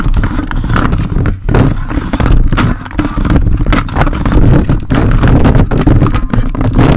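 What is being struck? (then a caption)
Metal mesh microphone grille scraped by plastic grabber fingers. The grey plastic fingers of a toy robot grabber hand with an orange handle aggressively scratch the dark metal mesh grille of a large red desktop condenser microphone with a hollow capsule head. The result is a dense, boomy, low-heavy scraping and rumbling with rapid rough grating strokes and brief dips between passes.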